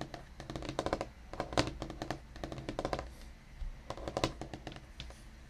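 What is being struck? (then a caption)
Wooden desktop. Fingertips of both hands, one wearing a ring on the left hand, tap rapidly across a large, solid black wooden desktop with a painted or laminated-looking surface, near a dark round microphone base at the top edge. The result is quick bursts of soft, dry clicks with very short decay, separated by brief pauses.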